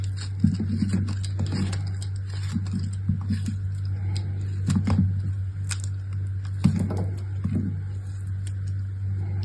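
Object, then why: Bar soap chunk. A hand-sized, solid chunk of dried bar soap with a black outer layer and a pale blue-green crumbly inside is held in one hand and scraped and cut with the metal blade of an orange utility knife. Soft, crumbly scraping and cutting sounds come in short bursts over a steady low hum, with a few sharper clicks and faint bright crackles. The cuts are dry and short, with almost no ring.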